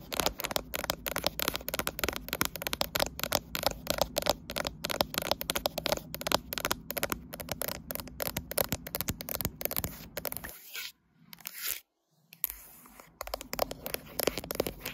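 A graphite smartphone with a glass back and metal frame, possibly in a case, sits in a tripod clamp while both hands with long light-blue acrylic nails scratch and tap along its back and sides. Rapid, dense clicks and crackly scrapes run almost nonstop with a bright edge. Near the end there are brief quiet gaps before the tapping resumes.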